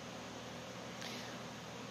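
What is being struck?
Nothing is struck.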